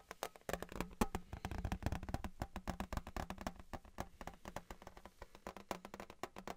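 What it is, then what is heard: Thin metal license plate. Fingertips tap quickly and irregularly on a thin, embossed metal Patriots souvenir license plate held in both hands close up. The taps are short and dull with a low-heavy body, a faint tone around 230 Hz, and almost no ring.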